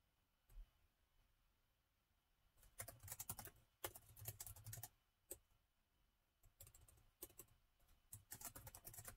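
Both hands type with their fingertips on the black plastic keys of a gold metal-look laptop with a hollow body. Soft, quick clicks come in short bursts separated by pauses, with a few lone taps. Each keystroke is bright and crisp, with a dull low thump from the hollow body and almost no ring.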